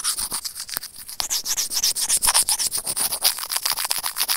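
Serrated plastic tweezers scratch rapidly over a small, hollow white plastic earphone inline microphone remote. About 25 quick, dry, bright scraping strokes come at roughly four per second, with a hissy texture and almost no low end.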